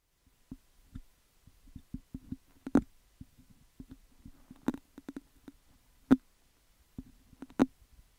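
Fingertips and nails pick and scratch at the hollow metal mesh grille of a handheld cylindrical condenser microphone with a metal body, held in the other hand. About 14 dry, close-up clicks and taps land at an irregular pace, each with a hollow low-mid thump around 260 Hz that dies almost instantly. A few sharper picks flash bright, with soft scratchy rustling between them.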